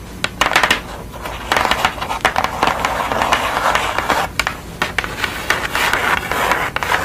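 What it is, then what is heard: Pastel drawing on kraft paper, scratched and tapped. Long nails scratch and tap across a pastel portrait with a blue face on flat brown kraft paper. Crisp, dry scratching rasps mix with many sharp little taps, and the sound is bright and mostly above 500 Hz with almost no low end.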